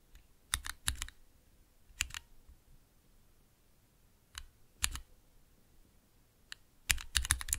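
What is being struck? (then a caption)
Plastic mechanical key switches with keycaps. Fingertips press and tap the keys of a small 3x3 mechanical switch tester, with clear plastic keycaps on Cherry MX switches set in a clear plastic base resting on dark velvet. Short, sharp plastic clacks come in irregular bursts and pairs, each pairing a low thump with a bright click that dies away almost instantly. The taps quicken into a rapid flurry at the end.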